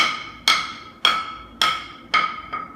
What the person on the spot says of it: ดังแป๊งๆแสดงว่ามีการติดปูนกาวนะครับทั่วทั้งแผ่นของกระเบื้องนะครับอันนี้ถือว่าใช้ได้นะครับ